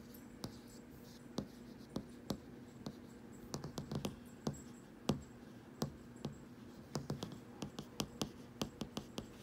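Fingertips and nails tap and scratch across the glass surface of a large flat TV or display screen showing a streaming menu. Sharp, quick taps with very short ring are spread irregularly over a faint low hum, with some taps grouped in quick runs and light scratching between them.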